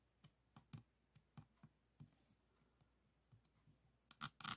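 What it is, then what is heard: Resin diamond painting beads tapped. A pink plastic pen tip taps and clicks on individual resin beads of a diamond painting board resting on a table. The result is a series of soft, short, irregular ticks that end in a few louder, brighter clicks.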